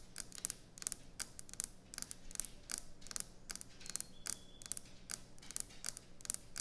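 Fingernails tap and scratch quickly on a solid white speckled quartz or stone kitchen countertop. Rapid bursts of sharp, bright clicks and scrapes stop dead with almost no ring, over a faint low hum.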